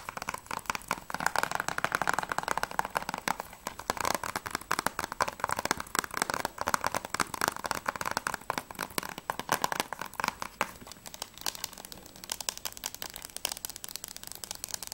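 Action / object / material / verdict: tap / plastic game case / plastic / none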